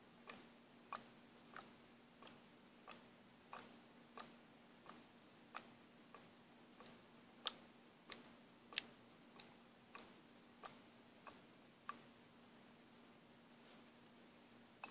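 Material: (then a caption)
Plastic. A small plastic paint bottle with a mixing ball inside is shaken by hand, so the ball ticks against the plastic walls. It makes a steady series of quiet, bright, dry clicks with almost no ring, over a faint constant low hum.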